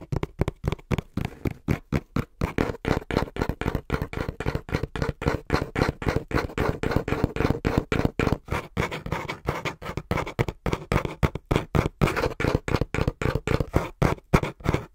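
Fingertips tap quickly on the front panel of a small, brown, hollow cardboard box held upright against the chest. About 88 short, dull, hollow thumps come in a fast, uneven rhythm. The sound is mostly low and boomy, with little brightness and almost no ring after each tap.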